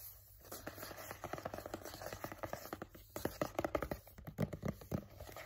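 Fingertips and nails tap and scratch a hollow, blue printed cardboard box for a Halti dog headcollar. A quick, uneven run of soft, dull taps sits in the mid-range, mixed with a dry scratchy rustle. Each tap dies almost instantly, and the whole clip stays quiet.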